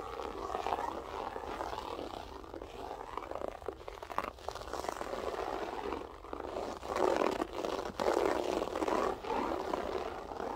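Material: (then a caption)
Carpet fibre. Long nails scratch across a grey loop-pile berber carpet, making a continuous rough, raspy scraping with a mid-range hiss that swells and fades in bursts. A faint voice may be audible underneath.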